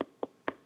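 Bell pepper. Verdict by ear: Fresh.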